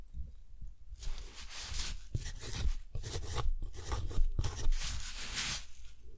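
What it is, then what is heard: Metal pen nib writing on textured cotton paper. A metal dip pen nib scratches across a deckle-edged sheet of thick, textured cotton paper held down by one hand, writing cursive text. Dry, bright scratching comes in short, uneven strokes with brief pauses between them, over a faint low rumble.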